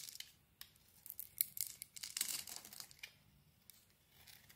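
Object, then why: Solid bar of soap. A utility knife blade shaves dry flakes from an oval, palm-sized pale-green soap bar with a glossy dark purple layer, held in the hand. Quick, crisp, bright scraping strokes come in irregular bursts, densest in the middle of the clip. Each one is dry and short with no ring, and the quiet gaps between them are faint.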